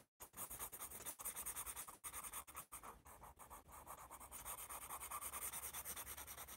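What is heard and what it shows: A wooden graphite pencil scribbles and rubs shading onto a thick paper sketchbook pad held upright with "AS" written on it. Bright, scratchy rubbing comes in quick back-and-forth strokes, broken by a few short pauses between bursts.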